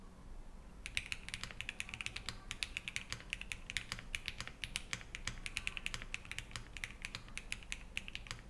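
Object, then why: Mechanical keyboard with ABS keycaps and metal case. A compact 65% Think6.5 v3 mechanical keyboard in a black metal case, with white GMK Dots ABS keycaps, foam inside, an FR4 plate and Harmony linear switches, is fully assembled and solid on a wooden desk as two hands type rapidly with their fingertips. After a brief quiet start with a low background hum, a steady stream of short, crisp, bright clacky keystrokes begins just under a second in and continues to the end, each tap dying away almost instantly.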